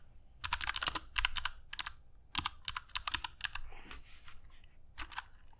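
A compact mechanical keyboard with grey PBT plastic keycaps and clicky Kailh Box Jade switches, resting on a cork desk mat, is typed on continuously with the fingertips of both hands. Sharp, bright clicks come in quick bursts over a faint low thud, each dying away almost instantly. A softer, hissy patch of sound follows before one last short burst of clicks.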